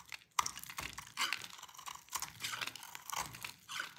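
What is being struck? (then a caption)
Bar of soap scraped with a metal blade. A metal utility-knife blade shaves and carves flakes off a hand-sized, solid, light blue bar of dry soap held in one hand, and the flakes fall away. It makes a series of dry, crisp scraping and crunching strokes, bright and papery with almost no low end. Each cut ends abruptly with no ring.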